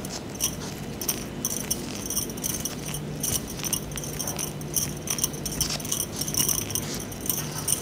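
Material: Metal.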